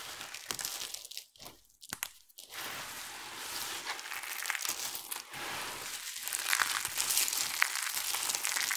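A pile of dry, colorful soap chips is rubbed and crumbled between fingertips, then a handful is lifted and squeezed in cupped hands before the hands spread out at the edges of the pile. The result is a dense, bright, papery crinkling and crunching. It starts in short bursts with brief silences and then settles into a continuous rustle that grows slightly louder toward the end.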